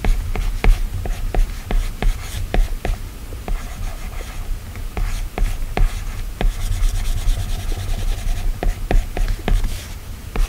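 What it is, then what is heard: Glass tablet screen under stylus strokes. A plastic stylus tip rubs and scratches in small strokes across the solid glass screen of an iPad tablet. Soft, dry scraping fills the clip, broken by many short, sharp taps and ticks, over a low, steady hum.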